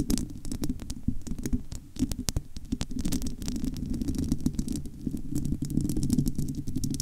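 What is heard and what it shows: Long almond-shaped nails on both hands scratch across the bare, domed metal wire-mesh grille of a large, hollow studio microphone. The result is a dense, continuous low rumbling scratch, dotted throughout with quick, bright clicks and ticks.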